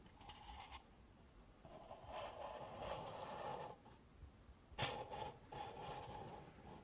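Long nails and fingertips rub and scratch the outside of two stacked, empty pink paper cups. The result is a soft, hollow, papery scraping in several bursts, with a resonant tone near 800 Hz and bright high hiss.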